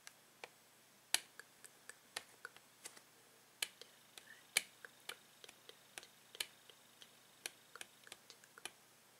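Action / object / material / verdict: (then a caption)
tap / plastic blister pack / plastic / none. Fingernails tap and click on the plastic blister package of a Tangle toy. About 24 quiet, very short, bright clicks come at irregular intervals, each dying away almost instantly with no low-end body.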